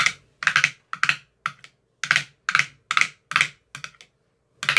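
A metal rod with a white rounded tip taps the bottoms of the teal silicone cells in an empty clear plastic ice cube tray. The result is a run of quick, dry, clicky taps in short bursts and clusters, bright with a brief hollow knock around 2.3 kHz. Each tap dies away almost at once, leaving short silences between them.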